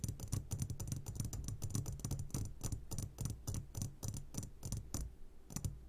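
Fingertips of both hands tap rapidly on the sides of an upside-down medium glass jar full of sugared gummy candies. About 28 short, uneven taps sound as dull low thumps with a bright clicky edge, dying away almost instantly with no ringing.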